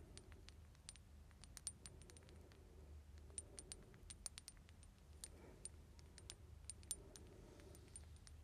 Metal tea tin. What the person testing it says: es bastante grande y hace un sonido hueco